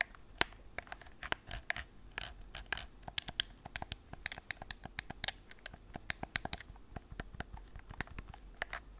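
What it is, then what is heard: Plastic game controller. A white, hollow, hard plastic PS4 gamepad is held in both hands while its buttons are clicked and its surface is scratched with fingertips and nails. Quick, bright clicks and scratchy scrapes come in rapid bursts, each dying away almost instantly over a faint low hum.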